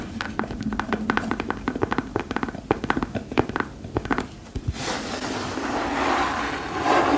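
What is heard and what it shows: Long pearl-decorated nails tap rapidly on the chunky treaded sole of a single yellow glossy rubber rain boot, which is hollow and empty. The taps are short and dry with a bright click, then give way to a steady, hissy scratching across the sole that continues to the end.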